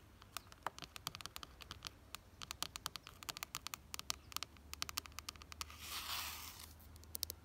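Long nails tap and scratch a red ribbed plastic flower planter box filled with soil, making a quick, irregular run of sharp, dry, bright clicks that stop instantly. Near the end, a brief, rougher scraping hiss swells and fades before a few last taps, all over a faint low hum.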